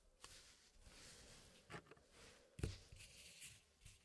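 A small square wooden tray puzzle, partly filled with solid wooden pieces, being worked by fingertips that slide and press the pieces inside the frame. Light wooden scrapes and soft rubbing are heard, with a few brief taps standing out, the strongest midway through.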